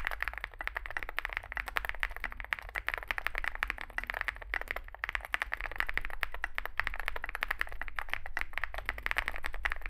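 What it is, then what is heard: Mechanical keyboard typing, plastic keycaps on metal case. Two hands type with their fingertips on a Zoom65 65% mechanical keyboard with a solid metal case and grey and white SA-profile plastic keycaps, resting on a desk mat. The result is a steady, rapid stream of short, crisp clacky keystrokes centered around 1.9 kHz, each dying away almost instantly, over a constant low hum.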